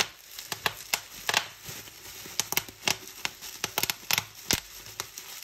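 Fingers with long nails squeeze and pop bubbles on a sheet of clear plastic bubble wrap held up in the air. A quick, irregular series of sharp, bright snaps and clicks rings out over a soft crinkling rustle of the plastic, each pop cutting off almost instantly.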